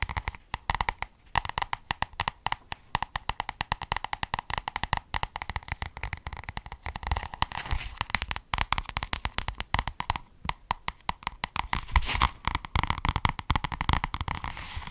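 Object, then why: Paperback book with cardboard cover. Long red nails tap and scratch rapidly across the cardboard cover of a small, solid white and red paperback book held upright. The result is a dense stream of short, dry clicks that stop almost instantly, mixed with soft scratchy rustling throughout.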